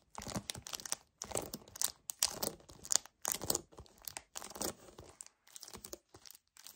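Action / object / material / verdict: scrape / paperboard drink carton / paperboard / none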